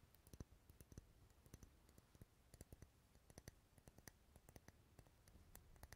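Fingernails tap the side of a lit, dark red, solid wax pillar candle held close to the microphone. A quick, irregular run of short, dry clicks follows, each with a soft low thud and a faint bright tick that stops at once, all at a quiet level.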